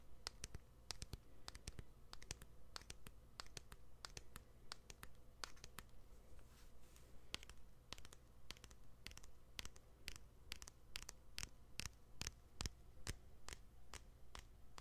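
Fingertips and nails tap and scratch the white plastic back of a smartphone held upright near the microphone. Quiet, sharp, very short clicks come in a fast, uneven stream of about two per second, mixed with soft scratching over a steady low hum.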